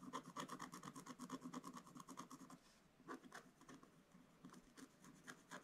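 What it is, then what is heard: Scratch-art paper being scratched. A wooden stylus scratches across the lower part of a flat, black-coated scratch-art paper page, making quick, dry rasping strokes with a papery bright edge. The strokes come in a fast, uneven run, pause briefly near the middle, then return as sparser, lighter scratches.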